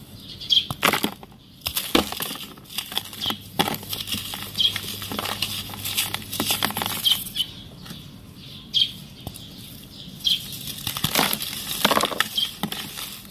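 A hand-sized clump of dry, compacted sand, solid yet crumbly, is broken apart over loose sand with both hands, then crumbled and rubbed between the fingertips into falling grains. The sound is a run of bright, dry, crunchy crackles and gritty rustling, with short sharp bursts as pieces snap off, and a steady hiss of trickling grains in between.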